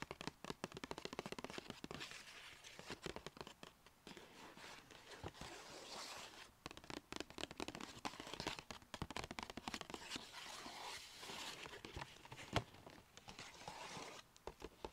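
A small black-and-white striped Sephora paper gift bag with rope handles, hollow and apparently empty, is held and tilted while long painted nails tap and scratch it. Rapid, crisp papery taps blend with dry scratching and rustling, giving a bright, brittle texture. Each tap dies away quickly, with brief quieter pauses between bursts.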